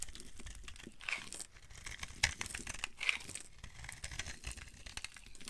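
A utility knife blade scrapes and carves a solid, dry pink bar of soap, breaking off flakes. A steady run of crisp, bright crackling and crinkling scrapes is heard, with a few sharper snaps standing out partway through. Each scrape ends dry and short with no ring.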